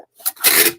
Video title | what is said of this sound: Lets chat while I ship items from my weekend eBay sales | There is absolutely no movement in that package.